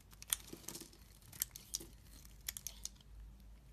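A utility knife blade carves flakes and slices off a solid green bar of soap held in the hand. Quiet, crisp, bright scraping and snapping cuts come at an irregular pace, each sharp and quickly stopped, over a faint low background hum.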